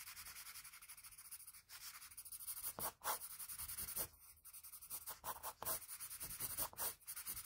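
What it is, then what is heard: Pencil scratching on drawing paper. A graphite pencil scratches short hatching strokes across a sheet of drawing paper at the neck and hair edge of a drawing. The rapid, dry, bright scratching comes in quick bursts separated by brief pauses.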